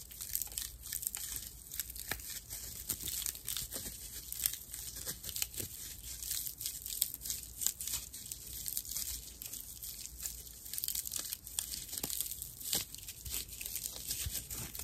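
A thick slice of dried natural loofah sponge, its fiber full of hollow chambers, is gripped, squeezed and scratched with long nails. Dense, dry, bright crinkling and crunchy rasping comes in quick, uneven bursts throughout, with little low-end body.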